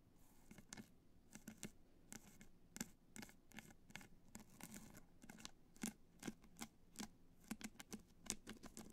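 Long nails scratch across the top and sides of a hollow black hard-shell clutch covered in multicolor rhinestones, resting on white fur. The result is a quiet, steady run of quick, bright, crackly scratches and taps, each with a faint hollow low tone beneath it.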